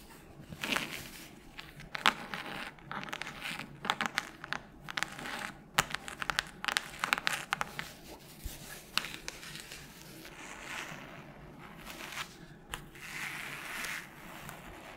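Long nails tap and scratch across the cover of a solid red hardcover book held by its spine and edges. Crisp, dry clicks come in quick irregular bursts between softer scratchy, crinkly scraping, all bright with almost no low end and no ring after each tap. The sound stays quiet and close throughout.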